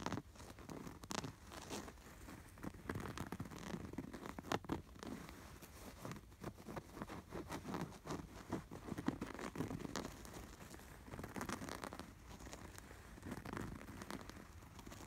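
Fingertips and nails scratch along the stitched snowflake and zigzag embroidery of a cream canvas throw pillow with a red appliqué sweater, a soft stuffed cushion. The result is a steady, close run of soft, dry scratching and crinkling rasps, mostly low-to-mid in tone, with brief louder strokes throughout.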